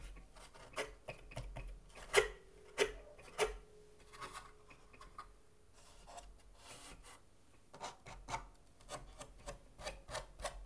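Fingertips of both hands rub and scratch the braced wood inside an acoustic guitar cut in half, with its thin wooden plate, braces and open hollow shell exposed. Soft, dry rasping strokes repeat at an uneven pace. A few sharper scratches near the start bring out a brief hollow ring from the wood before the sound settles back into quiet rubbing.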